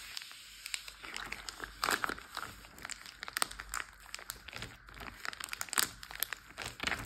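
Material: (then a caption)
Plastic. Hands squeeze and crinkle a clear Ziploc bag full of water resting on a teal surface, then pat and tap it with fingertips and nails. The result is a steady run of crisp, bright plastic crinkles broken by quick, dry taps, with almost no low end and no ringing after each touch.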